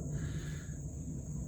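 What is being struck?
Nothing is struck.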